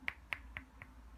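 Four sharp knuckle knocks on the housing of a compact 65W FINSIX Dart laptop charger give short, bright clicks that die away almost instantly. Each knock is a little quieter than the one before. The housing sounds solid, like a heavy-duty charger.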